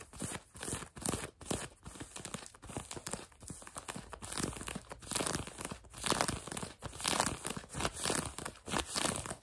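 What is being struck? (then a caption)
Denim jeans fabric. Fingertips and nails quickly scratch and rub blue denim jeans stretched over a leg or knee close by. The result is a dry, rough, crinkly scraping in uneven bursts, with bright rasping over a softer low rustle and no ringing after each stroke.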